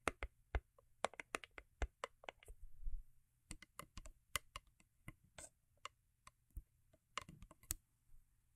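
Long acrylic nails tap and scratch the sides of a small, hollow, cube-shaped rigid cardboard gift box covered in holographic foil paper and resting on faux fur. The result is a quiet run of sharp, dry, clicky taps with bright edges and a soft low knock beneath them. A short scratchy rustle breaks in partway through, and each tap dies away almost instantly.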